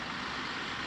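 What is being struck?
Nothing is struck.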